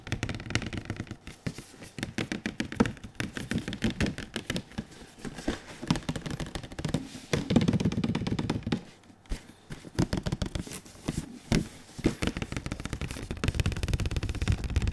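A large printed cardboard PS4 Pro box is held upright in front of a microphone while its broad face is tapped and slapped with the fingertips and palms of one gloved hand and one bare hand. The result is a steady stream of rapid, dull, low hollow thuds and knocks that die away almost instantly, with brief louder bursts of quick slapping.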